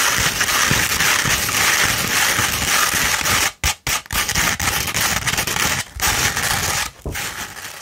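A sheet of No. 150 grit sandpaper, rolled into a hollow tube and held in the hand, is scratched with long pointed red nails. The result is a dense, bright, gritty rasping that runs almost continuously, broken by a few brief pauses before the scratching resumes.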